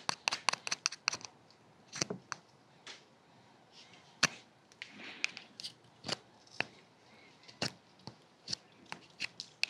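A small solid orange bar of soap, held in one hand beside a binaural dummy-head microphone, is scraped and carved with a small metal carving tool held in the other hand. About two dozen sharp, bright scratching clicks come in quick, uneven bursts, with softer shaving rasps between them. The sound is dry with almost no low end and no ring.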